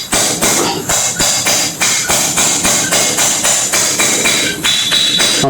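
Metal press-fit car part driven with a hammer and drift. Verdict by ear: Seated.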